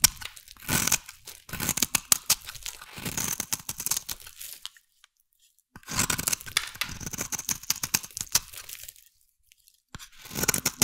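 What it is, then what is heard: Bar soap being carved. A metal blade carves and scrapes a solid, hand-sized blue bar of soap into flakes. Bursts of dry, crisp scraping and crunching, mostly high and bright with little low end, come in three runs separated by brief silences.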